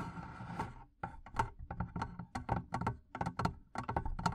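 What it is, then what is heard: Wooden barrel chest, tapped. Long painted nails and fingertips tap the sides of the wooden lid of a medium, hollow barrel-shaped wooden chest with leather straps and metal studs, its lid open with a microphone inside. After a soft, rustling start, a quick irregular series of dull, low, woody knocks follows, each dying away almost at once.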